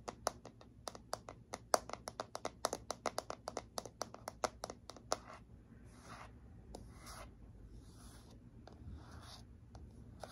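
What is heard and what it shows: Long fingernails tap quickly and sharply on the smooth, hollow back of a handheld black plastic paddle hairbrush with bristles, producing a dense run of crisp clicks for about five seconds. The tapping then gives way to softer, breathy scratching strokes across the same back, with only an occasional tap, all at a quiet level.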